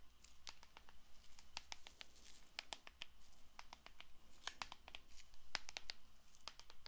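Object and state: Cellophane-wrapped paperboard playing card box.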